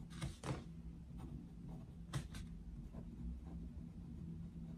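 A wooden coloured pencil scratches and rubs across a paper colouring book page on a desk while shading. Short, bright scratchy strokes come in separate bursts over a steady low hum that dominates the quiet background.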